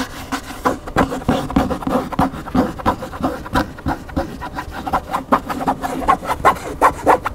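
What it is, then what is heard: Hardcover book scratched. Fingernails scratch the spine edge and glossy back cover of an upright large hardcover cookbook, beside its thick solid block of paper pages. The result is a quick, irregular run of short, dry scraping strokes with a mid-range rasp centered around 1 kHz, little low rumble and almost no bright top.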